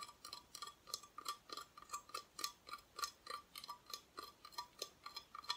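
Long nails quickly tap and scratch the raw wood back of a flat, thin plywood Christmas decoration cut-out, held at an angle and solid. Short, dry, bright clicks repeat at an uneven pace, each with a faint tone near 1 kHz and almost no low end. The taps die away almost instantly.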